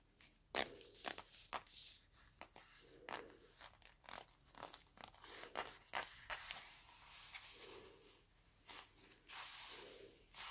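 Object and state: Leather gloves rubbing and creaking.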